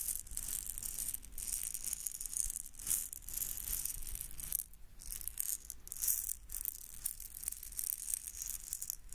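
A small red hollow plastic egg shaker filled with beads is held in the fingertips and shaken near the microphone. Bright, gritty bursts of rattling beads repeat steadily for about nine seconds, with a brief quieter pause near the middle.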